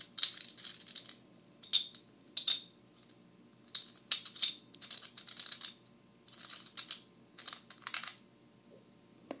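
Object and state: Clay composite poker chips.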